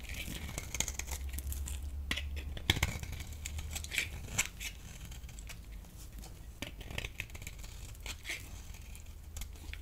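A thinned, solid yellow bar of soap held in the palm is scraped with a metal blade. Quick, dry, crisp scrapes crackle and crinkle in rapid succession over a steady low hum.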